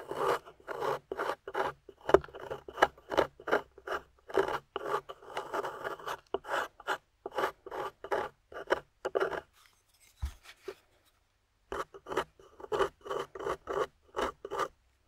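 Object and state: Plaster excavation block being scraped.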